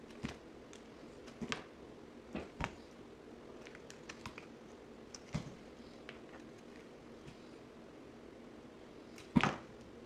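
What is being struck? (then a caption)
Bar of soap cut with a blade. A box cutter blade scrapes and slices flakes off a solid green bar of soap held in the hand. Short, dry scraping clicks come at scattered intervals over a low steady hiss, and a louder, fuller slice lands near the end.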